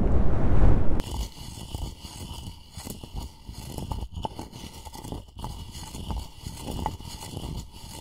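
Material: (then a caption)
Wood. A wooden pestle is ground and scraped around the inside of a light, hollow turned-wood mortar that appears empty and is held in one hand close to the recorder. The first second opens with a heavy, boomy low rumble, then gives way to a steady, uneven run of dry, low scraping and grinding strokes with occasional soft knocks.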